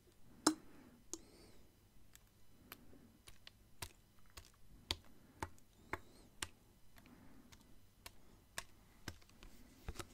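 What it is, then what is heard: Plastic water bottle with water inside. A clear plastic water bottle with water inside is tapped and turned, its bottom held toward the camera. A steady series of quiet, sharp tapping clicks sounds with very short decay, over faint soft shifting noise between taps.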